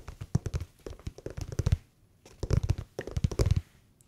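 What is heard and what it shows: A winter slipper with a non-slip-free sole is tapped rapidly with the fingertips, making dull, low, soft thuds that sound somewhat like tapping on leather. The taps come in two quick bursts separated by a brief pause, with almost no high content and no ring after each tap.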